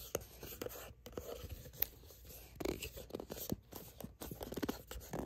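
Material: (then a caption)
Plastic. Long nails scratch and grip the sides of a soft plastic sunscreen squeeze tube that appears filled. The result is a quiet, irregular stream of short scratches, light crinkles and taps, each dying away almost instantly, with most of the energy low and a few brief bright ticks.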